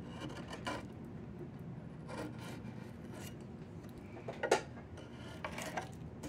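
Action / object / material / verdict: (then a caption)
scrape / diamond willow stick / wood / none. A steel chisel blade scrapes along a long, solid diamond willow branch being carved into a walking stick. Soft, rasping carving strokes run over a steady low rustle, with short bright scraping bursts and one sharper, louder scrape near the middle.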